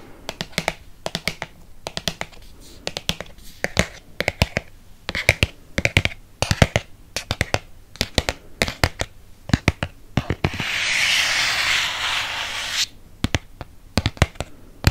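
Fingernails tap rapidly on the front cover of a red Harry Potter hardcover book, producing dozens of short, dry, bright clicks in quick bursts with brief pauses between them. Around the eleventh second the tapping gives way to a steady, hissy scratching across the cover for about two seconds, then the crisp tapping resumes.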